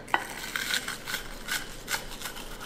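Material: Fried breading.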